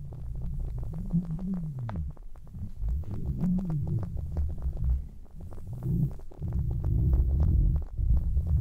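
Fingertips with long nails grip and rub red fluffy synthetic-fur earmuffs on a mannequin head. The result is a deep, muffled rumbling and swishing, almost all low frequency, with soft repeated scratchy strokes and swelling, wavering tones.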